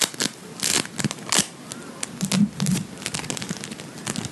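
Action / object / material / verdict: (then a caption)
scrape / lump of bead foam modelling compound / foam beads / none. A hand-sized, solid lump of blue Playfoam, made of foam beads in a sticky binder, is squeezed, kneaded and pulled apart by fingertips and nails. It gives a quick run of bright, crackling and crinkling bursts with tearing sounds. Each burst stops dead, with almost no ring.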